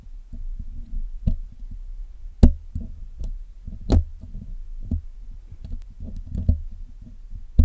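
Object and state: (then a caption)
Metal mesh microphone grille being picked. A steel hook pick scratches and picks along the wires of the black, hollow metal mesh grille of a Blue Yeti microphone during cleaning. Close, dull low-pitched scraping runs throughout, broken by sharp, brief knock-like clicks that flash bright before dying away almost instantly.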